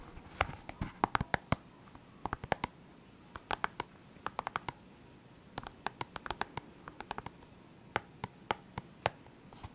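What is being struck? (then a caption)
Hard plastic pen case with markers. Fingernails tap and scratch the lid of a clear, hard plastic case holding felt-tip pens, with a label on it. Quick, dry clicks with very short ring come in irregular bursts over a soft scratchy hiss, with a light hollow tone around 840 Hz and bright edges on the sharper taps.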